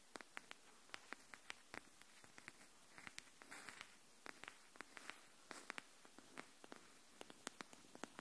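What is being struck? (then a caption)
Cardboard hardcover notebook edge. Long nails tap the edge of a pink cardboard hardcover paper notebook held edge-up. About 35 quiet, sharp clicks with bright tops sound over a soft hiss, each dying out almost instantly, with a brief rustle in the middle.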